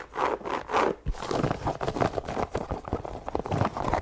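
Long nails scratch and tap across the upper, laces and sole of an empty white leather sneaker. The result is an irregular run of dry, mid-pitched scratches and soft, short taps with a few dull low thumps, with little bright top.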